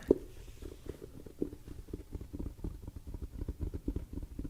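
Fingertips tap rapidly on a top hat for ASMR tingles. The taps are soft, dull and muffled, with short low thumps and no bright ring, speeding into a steady patter.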